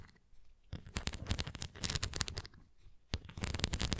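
Long nails scratch across the bumps and rim of a red plastic flying disc toy, held face-on and then tilted. After a near-silent start, dense bursts of dry, crackly scratching begin, with a bright, gritty edge over a low rumble. They fade into a brief lull, then return sharply for the final second.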